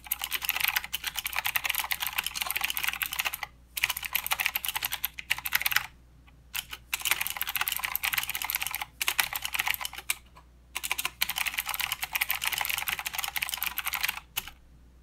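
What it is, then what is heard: Plastic mechanical keyboard with clicky switches. Fingertips of both hands type continuously on a full-size mechanical keyboard with plastic keycaps and blue clicky switches. The result is a dense, bright, sharp clicking clatter in steady bursts with short pauses between them, and each click decays almost instantly.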